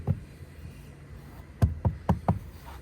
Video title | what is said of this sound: TOYOTA COROLLA CROSS 2.0 HYBRID FWD PREMIERE EDITION 2023 - TEST PL 4K | mnóstwo twardego plastiku z plastikową klamką